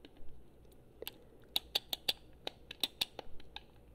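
Long fingernails tap and click on the buttons and shell of a hollow, handheld gold/chrome Xbox 360 plastic game controller. About a dozen short, sharp, bright plastic clicks come at an uneven pace with almost no ring. Between them is a faint, quiet background hiss.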